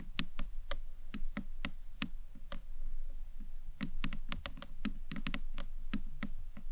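Long nails tap and knock on the top edge of a small, hollow, green marbled acrylic box clutch. The result is a quick, irregular series of sharp clicks, each pairing a bright, high tick with a dull, hollow low knock. The clicks bunch more closely together in the second half.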